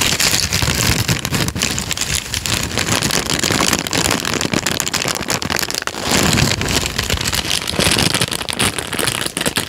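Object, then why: Thin paper sheet. A thin sheet of tan manila paper, held in both hands close to a microphone, is folded and crinkled with the fingertips. Dense, continuous crackling and rustling runs throughout at a steady level, bright and hissy, with some low handling thumps underneath.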